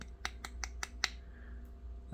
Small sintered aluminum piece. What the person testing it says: it does hold up to touching and hitting and tapping